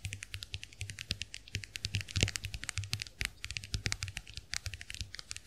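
Long acrylic nails tap quickly and steadily on the plastic backs of a small round white plastic clamshell hand mirror held open. The result is a dense run of crisp, bright clicks with very short decay, layered over a low steady hum.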